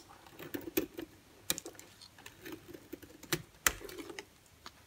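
A solid white bar of soap held in the hand is cut and scraped with a utility-knife blade, giving ten sharp, crisp clicks spread over soft, quiet scraping. The snaps are bright and very short with almost no low end, and each dies away almost instantly.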